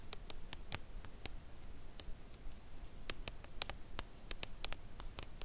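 Long nails tap the printed front of a full Lindt Creation Caramel cardboard chocolate bar box lying flat, face up. The result is a series of light, dry, crisp taps with bright clicky tops over a low, quiet background hum. Each tap dies away almost instantly.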